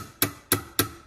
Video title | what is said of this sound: Edwards fire bell MB 10-24 vs 439D-AWC which is better and louder? | sounds a lot less cheap